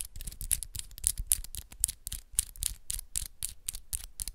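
Long pink and black acrylic press-on nails on one hand scratch and tap against the nails of the other hand close up. A fast, uneven series of short clicky taps mixed with brief scratches, each with a bright, crisp edge and a soft low thump underneath, dying away almost instantly.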